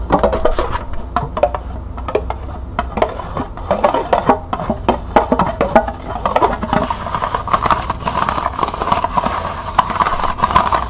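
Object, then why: Small plastic cup. Long nails tap and scratch the base, side and rim of a small, hollow, empty green plastic cup held in the hands. Quick, dry clicks with almost no ring come in dense bursts. In the second half, scratching adds a steady rasping hiss centered near 1 kHz.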